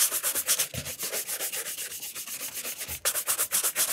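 A burgundy leather cap-toe shoe with a wooden shoe tree, held in one hand, is brushed briskly with a wooden-backed horsehair brush. About 22 quick, bright, bristly swishes run at roughly four strokes per second, with a couple of soft low bumps. The brushing grows crisper and louder for the last second.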